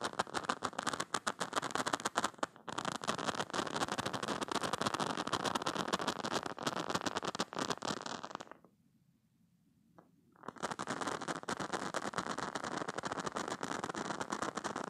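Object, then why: Silicone spiky stress toy. Painted fingernails scratch across the soft spikes of a hand-sized green silicone cube-shaped squishy toy, which is soft and probably solid, and squeeze it. The result is a dense, crackly rustle of quick scratches, bright and steady. It drops to near silence for about two seconds before resuming just as busily.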